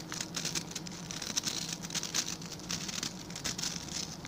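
Fingertips and nails scratch across the bristle tips of a hand-sized blue plastic scrub brush with tufts of stiff white and blue plastic bristles. Quick bright, crackly scratches overlap in a dense, pattering stream with small louder bursts, over a faint low hum.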